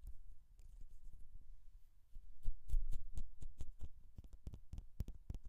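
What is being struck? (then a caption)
Metal mesh microphone grille. Long nails of both hands scratch close up on the hollow mesh metal grille of a Rode NT1-A condenser microphone. The result is a fast, uneven run of scratchy taps, each with a deep, muffled thump and short, bright crackles that die away almost at once. The scratching swells louder midway through.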